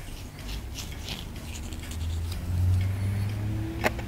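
A wooden stick repeatedly scrapes a solid white plaster dig block held low over a table. Soft, irregular scratching sits over a steady low rumble that swells slightly midway, with faint bright grainy scrapes. A single sharp click stands out near the end.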